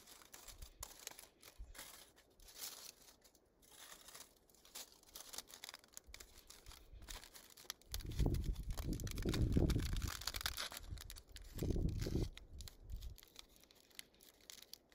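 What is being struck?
Thin aluminium foil sheet.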